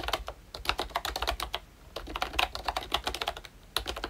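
Fingertips type continuously on a pink and brown plastic ROYCHE Disney Mickey Mouse retro membrane keyboard. Quick, soft clacks come in uneven bursts with short pauses, each keystroke dry and bright with little low end. The result is a steady, muted plastic patter that stops almost instantly after each press.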